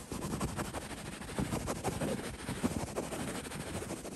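Fingertips scratch the woven surface of a cream linen-weave printed throw pillow. The result is a steady, rough, fairly continuous rasping rustle, weighted toward low-mid tones with only faint brightness, with irregular small surges throughout.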